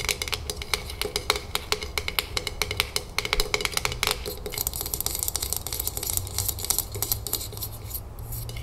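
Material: Metal, glass.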